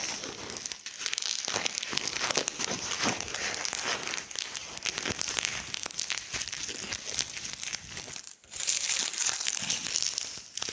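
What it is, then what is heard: Dry crumbling linden leaves. Gloved fingertips pinch and crumble small dried linden leaf fragments further on a wooden slab, producing a dense, bright crinkling and crackling with many rapid, sharp snaps. The crackle continues almost nonstop, with a brief quiet gap near the end before the crumbling resumes.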